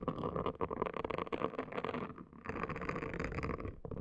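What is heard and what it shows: A hand with long nails scrubs a pink, palm-sized, hollow-domed silicone/plastic scalp brush, a silicone hair washing brush, across a woven placemat while the nails scratch the dome. The result is a dense, continuous scratchy rasping with a steady mid-range bristle texture. It dips briefly just after the two-second mark before resuming.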